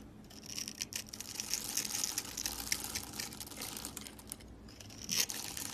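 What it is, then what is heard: Dry soap bar scraped. A metal blade scrapes and carves the surface of a hand-held, solid rectangular bar of dry green-and-white striped soap, crumbling green and white flakes onto a table already scattered with soap curls. It makes a steady, bright, crunchy scraping with crackly grit and almost no low end, swelling to a sharper burst near the end.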